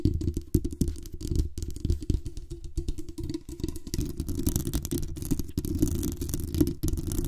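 Long acrylic nails scratch and tap the metal mesh grille and body of a black condenser microphone, producing a dense, continuous run of close scratching and quick tapping. The sound is heavy and boomy in the low end, with a low hum-like tone running beneath the scrapes.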